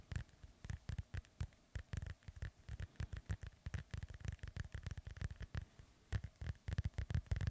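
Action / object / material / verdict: scrape / foam microphone windscreen / foam / none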